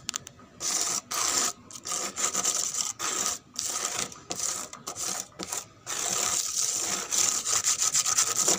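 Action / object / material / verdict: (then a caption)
scrape / painted wooden board scratched with fingernails / painted wood / none. Long pink nails scratch fast and aggressively up and down a large, flat, brown-painted wooden board or door, where the paint is flaking and peeling to show pale wood beneath. The result is bright, hissy, rasping scrapes in quick, uneven bursts separated by brief silent gaps, with almost no low end.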